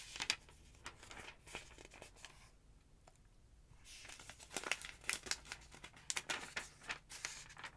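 Long-nailed fingers lift and flip the thin yellow pages of a large, open paper phonebook resting on a wooden table. Bright, crisp rustles and crinkles come in quick bursts, with a brief quiet pause near the middle before the page turning picks up again, louder and busier.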